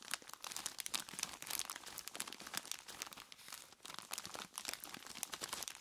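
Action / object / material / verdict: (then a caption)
scrape / plastic bag filled with ice cubes / plastic, ice / none. Long plastic claw tips scratch and squeeze a large clear plastic bag full of ice cubes. Bright, dense crinkling and crunching runs throughout, with rapid crisp clicks and almost no low end, swelling and easing in short bursts.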